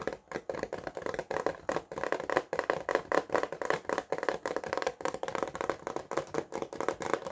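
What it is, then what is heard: Plastic blister pack tapped with fingertips and nails. A small, flat, hollow retail package, clear plastic blister over a printed cardboard card, is held up in both hands while fingertips and nails tap its front and back. About 36 quick, dry, hollow plastic taps follow in a steady, uneven rhythm, each dying away almost at once. The taps carry a midrange tone around 440 Hz with little bass.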